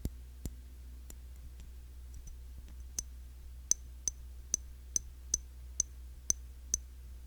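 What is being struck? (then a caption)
Glass cologne bottle. Fingers tap on the glass body of a cologne bottle, a Classic Match clone of YSL Y. Sparse taps at first give way to a steady series of short, bright clicking ticks, each with a high glassy ping that dies almost instantly over a low hum.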